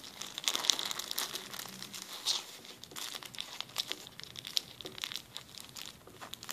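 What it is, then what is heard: Plastic zip-lock bag crinkled. A clear plastic zip-lock bag is rubbed along its zipper and then crumpled with the fingers. It makes a dense run of bright, crisp crinkles and crackles, with almost no low end. The sharp snaps die away instantly.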